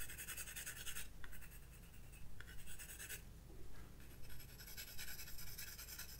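A graphite pencil held in the fingertips shades and scratches across white drawing paper in a spiral-bound sketchbook lying flat on a wooden desk, working in short strokes throughout. Bright, dry scratching comes in bursts separated by brief pauses, over a steady low hum.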